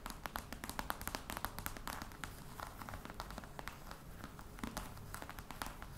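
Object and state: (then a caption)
Faux crocodile leather box tapped with nails. Long red nails tap rapidly on the top of a flat, hollow black box covered in embossed faux-crocodile leather. A quiet, dense stream of short, crisp clicks rides over a soft hollow low thump, each tap dying away almost instantly.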